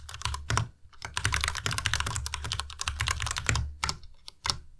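Fingertips of both hands type fast on a white Ducky Miya Pro tenkeyless mechanical keyboard with plastic keycaps and Cherry MX Red switches. A dense, uneven stream of bright, clacky keystrokes is heard, each with a low thump underneath and a short, dry decay, broken by a few brief pauses and louder key strikes.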